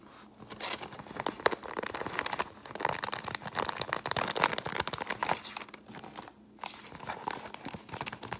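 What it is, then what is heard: Crumpled paper bag. An empty brown kraft paper bag is folded and crumpled between the fingers and scratched with long painted nails. The result is a dense, bright run of crinkling, rustling and crackling, broken by a few brief quiet gaps.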